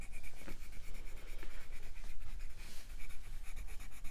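A light green wooden colored pencil shades a paper coloring book page in rubbing strokes while the other hand holds the page flat on a fluffy surface. A steady, soft, dry scratching runs throughout, pulsing quickly with each back-and-forth stroke and carrying a faint squeaky tone.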